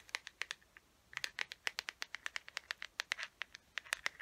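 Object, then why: Small plastic case. Long nails scratch and tap the flat side of a small hollow teal plastic case with a gold chain, held closed. Around 29 quick, dry, bright clicks and scrapes come in an uneven run, centred near 2 kHz with no low end and almost no ring.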